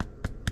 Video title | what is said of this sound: Fresh homemade bread and cinnamon butter swim biscuits. | knocking on it with your finger. If it sounds hollow, that means it's ready.